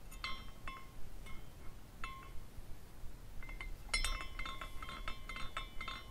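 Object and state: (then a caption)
Glass carousel figurine clinking. A hand spins a small glass carousel figurine, and its hanging glass parts clink against each other in irregular, bright, tinkling hits with a short ring around 2 kHz. The clinks are scattered at first and become denser and busier toward the end, over a low, steady background rumble.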